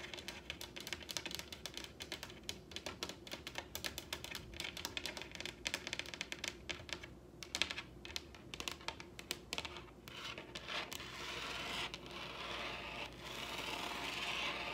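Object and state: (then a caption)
Wooden table. Long red nails tap rapidly on a large, solid wooden tabletop in a typing-like motion, one hand raised and the fingers drumming down onto the wood. The result is a dense stream of short, dry, bright clicks with almost no low end and no ring. Toward the end the taps thin out over a steadier, hissy bright texture.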